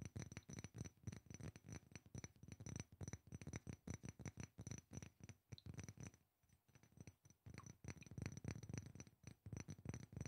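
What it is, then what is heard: Glass perfume bottle. A small rectangular glass perfume bottle, partly filled with yellow liquid, is tapped quickly with fingertips and nails. The result is a dense run of short, dull clicks and taps with a low body and some high ticks. The tapping stops briefly a little past the middle, then picks up again.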